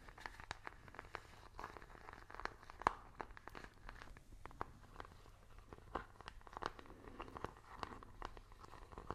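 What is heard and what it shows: A small, hollow plastic IR remote control with rubber buttons is tapped rapidly with fingernails while its buttons are clicked. The result is a quiet, steady stream of sharp, dry ticks and clicks centered around 1 kHz, with almost no ring, plus a few louder snaps along the way.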